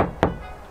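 A single knock on a steel kei van roof panel covered with a deadening sheet gives a dull, damped thunk. It dies away quickly without ringing, as expected once the panel is deadened.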